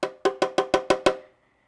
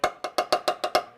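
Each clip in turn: First: Seven quick, even taps on thin sheet steel give a short, boxy tone near 500 Hz: the panel sounds hollow. Second: Seven quick taps on steel sheet metal, each a short dry knock near 700 Hz, sounding solid rather than hollow.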